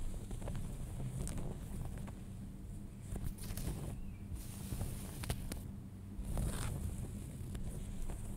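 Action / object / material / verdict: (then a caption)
scrape / denim jeans fabric / denim / none. Fingernails scratch along the fly and front of a pair of folded light-wash denim jeans, producing a steady, soft rasping texture with a low, rumbly body. Brief brighter scrapes and crackles break through at irregular moments, while the level stays fairly even throughout.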